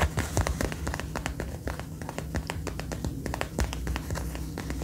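Fingertips and nails tap and scratch the shoulder and chest panels of a dark brown faux leather jacket being worn, its soft, thin material giving off a quick run of dull, low thumps. Sharp, bright clicks and brief rasping scratches mix in, each dying away almost at once.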